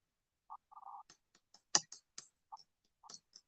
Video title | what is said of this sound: OUTDOOR STEPPING STONE CEMENT | it sounds neat, kind of sounds like glass